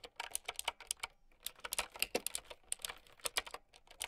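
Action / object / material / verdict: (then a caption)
tap / plastic mechanical keyboard with round keycaps / plastic / none. Fast typing with long nails on a plastic mechanical keyboard with round keycaps. Roughly two dozen quick, uneven clicks and clacks, each bright, sharp and short with almost no low end or ring. The result is a busy, crisp patter of keystrokes.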